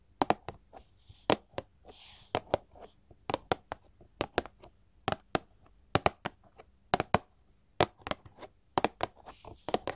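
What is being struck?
Paperboard candy box tapped with metal claw tips.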